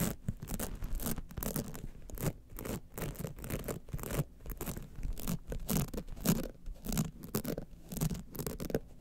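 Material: Rhinestones.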